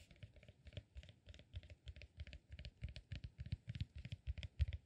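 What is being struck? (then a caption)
Cork peanut-shaped massage ball. A solid, peanut-shaped cork massage ball is held in both hands and scratched and tapped with fingertips and nails. The result is a quiet, quick, irregular patter of short taps, each a dull low thump with a light, bright clicky edge and almost no ring.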